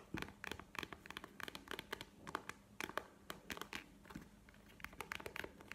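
A map-print faux leather wallet is held up and tapped and scratched with long painted nails. A rapid, uneven series of short, dry clicks and taps sounds, with bright scratchy textures between them and a soft crinkling character. Each tap stops almost instantly, with no ring.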